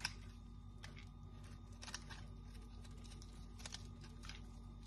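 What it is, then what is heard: Dry bar soap. A small metal knife scrapes and shaves a palm-sized, hand-held bar of dry pink-and-white striped Dettol soap, and crisp flakes fall onto the table. Quiet, dry, bright scratchy clicks and short shaving strokes come at irregular moments over a steady low hum.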